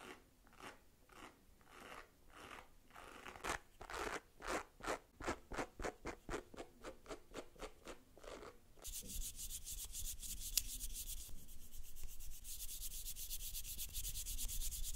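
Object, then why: Plastic facial cleansing brush with silicone bristle pad. Long pink nails rub and scratch a hand-held white plastic facial cleansing brush with a pink silicone bristle pad. For the first nine seconds, rhythmic swishing strokes speed up and grow louder. Then it shifts to a steady, hissy, high-pitched scratching that continues to the end.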